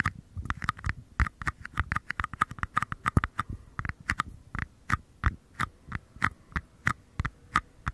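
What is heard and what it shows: Short fingernails tap and scratch the bases and sides of two identical small, empty, hollow paper cups held close to the microphone. A steady run of quick, dry taps lands with a soft low thump and a hollow papery tone around 1 to 2 kHz, with faint scratching in between, and each tap dies away almost at once.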